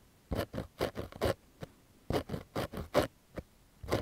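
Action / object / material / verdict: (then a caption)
scrape / cotton fabric baseball cap / cotton / none. Fingernails scratch the fabric and embroidered logo patch of a pink cotton baseball cap held close to the mic. Short, dry, raspy scratching strokes come in two uneven runs separated by brief pauses, with a faint papery crunch and little low end.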